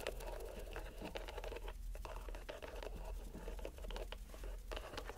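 A green rubber stress ball inside a white mesh net is squeezed and released by hand. It makes a quiet, continuous run of soft squishing, scratchy crinkles and light patter, with a low rumble underneath and faint brighter clicks.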